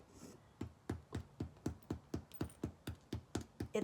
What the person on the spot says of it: sounds hollow, so that's a good indication